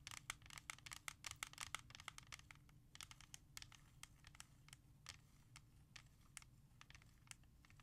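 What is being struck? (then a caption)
Plastic CD jewel case. Long nails tap rapidly on a held clear plastic jewel case containing the R.E.M. *Out of Time* CD. The sharp, bright clicks are dense and quick at first, then thin out to sparser taps. A steady low hum runs underneath.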